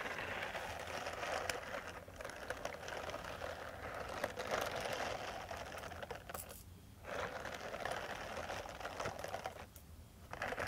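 Long metal nail tips scratch the bristles of a small purple silicone face cleansing brush pad. The result is a dense, rapid, uneven crackling rasp centered in the mids with bright edges, broken by two brief quieter pauses near the 7- and 10-second marks.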